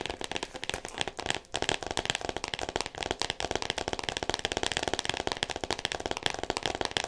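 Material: Cardboard, plastic.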